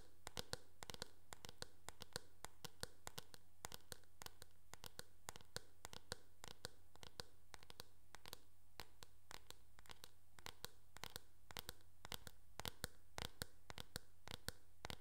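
Long nails tap and scratch across the back of a teal, hard plastic oval hairbrush with a hollow shell. Rapid, irregular bright clicks sound over soft scratching, with a steady low hum underneath, all at a quiet level.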